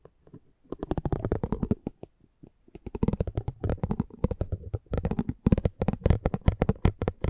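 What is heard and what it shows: A metal spiked pinwheel is rolled across the face of a small, thin cardboard driver trading card held in the hand. It makes rapid, dry, crackling clicks in bursts separated by short pauses, with each tick very short and weighted toward the low end.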